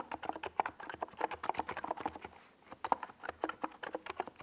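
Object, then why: Plastic mechanical keyboard. A small 68-key NiZ Plum Atom 68 mechanical keyboard with a white plastic case and purple and yellow Domikey Gas Attack SA plastic keycaps, resting on a desk pad, is typed on continuously with fingertips. Quick, dense clacks with a short, hollow plastic ring centered around 940 Hz run steadily, pausing briefly about halfway through before resuming.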